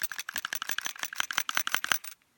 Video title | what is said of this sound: COmplete Glock takedown part 2 | that noise you hear is the striker the firing pin rattling and that's normal that's good that's what you want to hear